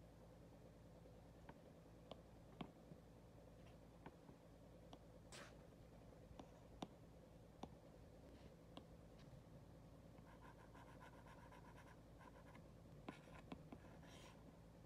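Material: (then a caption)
Glass. An Apple Pencil's hard plastic tip taps and writes on the glass touchscreen of an iPad lying flat, held by a hand with long red acrylic nails. Quiet, sharp, short clicks come at scattered intervals over a steady low hum, with faint soft scratching of the tip gliding across the glass between taps.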